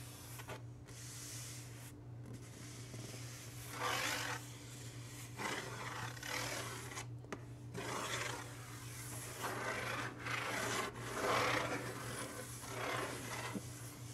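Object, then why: Large printed cardboard box. Flat hands and fingertips rub and scratch across the printed lid of a large, hollow, closed cardboard subscription box. Repeated dry, papery strokes come in uneven bursts of bright rasping over a steady low hum.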